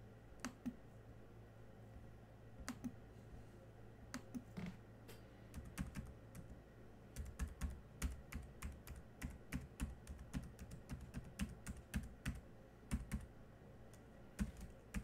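Fingertips tap and type on the black plastic keys of a silver laptop, producing about 43 quick, dry clicks in irregular bursts, some rapid and some spaced apart. Each click is brief, with a bright snap over a soft low thump, and a steady low hum sits underneath throughout.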